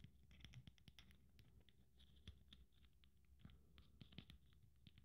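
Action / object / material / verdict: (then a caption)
scrape / beaded glitter Christmas ornament / beads / none. Fingernails scratch over the beads and glitter surface of a blue beaded glitter Christmas ornament held in the hand. The result is a quiet, steady scratching with many small bright clicks and crackles over a soft low rumble.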